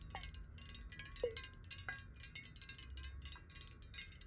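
A clear, hollow square glass water bottle, partly filled with water and held sideways, is tapped rapidly with long nails. The result is a dense run of bright, clicky taps with short, chime-like ringing tones around 480 Hz over a faint low rumble.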